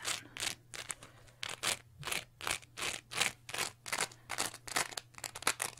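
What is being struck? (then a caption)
Cellulose sponge. A small, soft, porous green textured cellulose sponge, held in both hands, is scratched quickly with long manicured nails. It makes a rapid, uneven series of about twenty short, bright, scratchy rasps with quick gaps between them, over a faint steady low hum.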